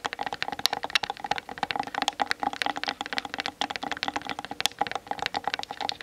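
Long nails on both hands tap quickly across the hollow plastic body of a Canon DSLR camera mounted on a tripod. The result is a dense, rapid stream of short, dry, bright clicks with almost no ring and very little low end.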